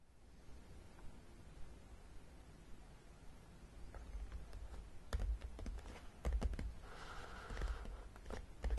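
Long painted nails tap and scratch the top edge and front of a long, flat, hollow printed cardboard Battleship (Zeeslag) game box lying on a table. After a quiet start, soft, dull thumps and sharp clicky taps build from about four seconds. Louder hollow knocks follow, with a brief scratching rasp around seven seconds.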